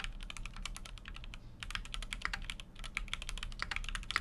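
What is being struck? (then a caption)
Mechanical keyboard with metal case and plastic keycaps. A full-size Keychron Q6 mechanical keyboard with an aluminum case and plastic keycaps is typed on continuously with the fingertips. Rapid, sharp, bright clacks with very short decay run throughout, with a brief pause near the middle, over a steady low hum.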